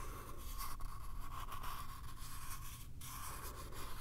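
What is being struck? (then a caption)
Small light wooden box. Fingertips and nails scratch the surface of a small, hollow, light-wood box with a pale paper-covered lid panel, held in both hands. The result is a steady, continuous scratching and scraping texture over a dominant low rumble, with a brief dip around the three-second mark.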